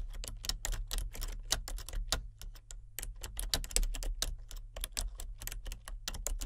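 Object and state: Plastic computer keyboard being typed on.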